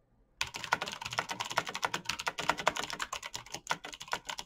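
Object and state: Mechanical computer keyboard.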